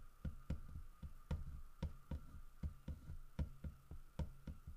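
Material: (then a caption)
Wood. Fingertips and nails tap and knock on the carved back of a large, solid carved wooden bear figurine. Thirteen short, dull, low knocks land at an uneven pace, each dying away almost instantly. A faint steady tone hums underneath.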